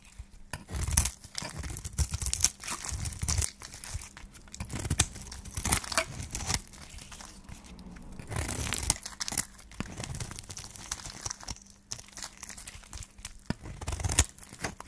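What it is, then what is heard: Dry soap bar being shaved. A solid yellow dry soap bar is held in the hand while a flat metal blade shaves thin strips from its edge. Repeated dry scraping and crisp tearing and crunching strokes are heard, with bright, papery texture over a low thump and faint hum underneath.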